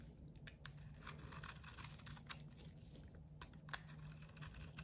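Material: Soap.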